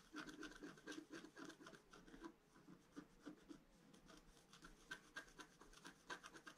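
A pointed wooden stylus scratches a flat A4-size scratch-art card, black coating over a colored foil layer, lying on a table. Quick, slightly uneven scraping strokes come about four per second, each with a faint squeaky, papery rasp and a brief bright edge. The overall sound stays soft.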